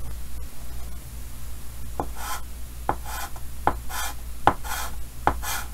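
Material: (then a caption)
Chalk. A hand colors in a cheek with pink chalk on a large, solid chalkboard in a green wooden frame, the chalk rubbing and scratching across the board surface. Five short, sharp chalk taps land about once every second, each followed by a bright, hissy scrape of the stroke. A steady low hum sits beneath it throughout.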